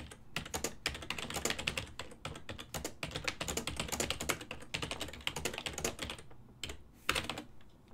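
Fingertips type rapidly throughout on a full-size black and silver ergonomic plastic desktop keyboard, its keys set over a hollow body. The result is a dense, bright stream of short clacking key clicks with a hollow low thump beneath, each click dying away almost at once. The typing pauses briefly near the end before a few final strikes.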